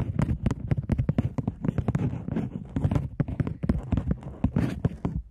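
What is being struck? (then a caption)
Polymer plastic banknote. A polymer £20 banknote, held in both hands with its back side showing, is scratched and tapped by long nails on its plastic surface while being crinkled and flexed. A rapid, dense series of sharp, dry clicks and taps rises over soft rustling and crackling, with each hit dying out almost instantly.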